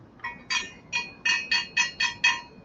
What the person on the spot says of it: you hear them that sounds like metal